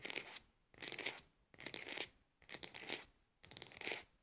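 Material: Plastic.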